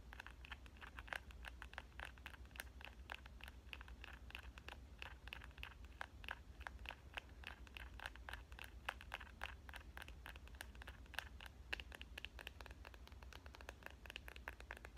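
A phone-sized smartphone in a clear plastic case printed with avocados is held in one hand and tapped and scratched on the back with dark-painted nails. Quick, dry clicking taps with bright, short transients come in a rapid, irregular stream over a faint scratchy texture, with a steady low hum underneath throughout.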